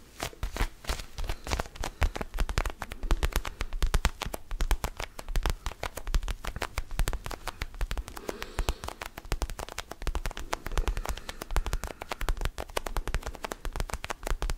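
Fingernails quickly tap and scratch an orange small rubber mini basketball with a pebbled surface, held in both hands close to the microphone. The result is a dense, continuous run of short, dry taps with a deep, hollow thump and faint scratchy texture, each hit dying away almost instantly.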